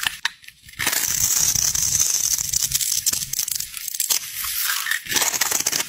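A metal utility knife blade scrapes and shaves the top edge of a solid green bar of soap with light stripes, held in the fingers over a pile of soap bars, cutting it into crumbly flakes. After a brief quiet start, a dense, bright, crackling scrape runs almost continuously, with short dips as the blade lifts between strokes.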